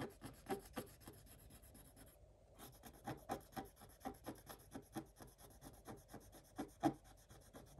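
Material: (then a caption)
Coated paper. A thin wooden stylus scratches repeated strokes across a black coated scratch-art paper page lying flat. Quiet, dry rasping scrapes come in an uneven rhythm with a short pause about two seconds in, each stroke a brief bright rub with no ring.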